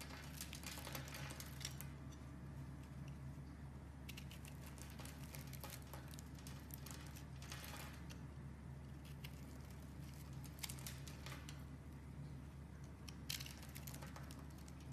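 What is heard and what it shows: A round solid pink soap bar held in the hand is carved with a metal utility blade, scraping and cutting off small crumbly chunks. Soft, bright scraping and crackling patter comes in bursts over a steady low hum, with a few sharper cuts standing out near the end.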